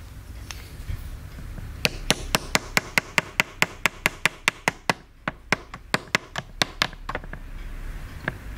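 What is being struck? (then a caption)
Small plaster block struck with a wooden chisel and mallet. A wooden chisel stick is knocked with a small wooden mallet into a small, solid white plaster block from a dino dig kit, held in the hand, to chip it. There are 26 sharp, dry, bright clicks in a quick, slightly uneven run, each dying almost instantly, with a brief pause near the middle and one last tap after a gap.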